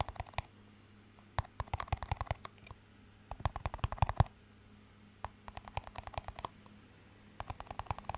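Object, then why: Small clear plastic cup. A small, empty clear plastic cup with a green band is held up and tapped and scratched with fingertips. Quiet clusters of quick, dry clicks and light scratches come in bursts separated by short pauses. A faint steady low hum sits underneath.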